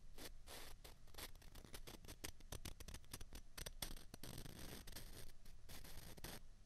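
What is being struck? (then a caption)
Two plastic ping pong balls. Two small hollow white plastic ping pong balls, held together in the hands, are rubbed and tapped against each other, making a quick, steady run of light dry clicks and scratchy scraping. The ticks are short and bright, with almost no ring, and the level stays quiet throughout.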